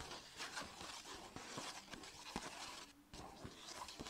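Long red nails and fingertips rapidly tap and scratch a small, hollow striped Sephora paper gift bag lying on a blanket. The result is quick, dry, papery taps mixed with crisp, bright scratching and rustling, with only brief ringing after each tap.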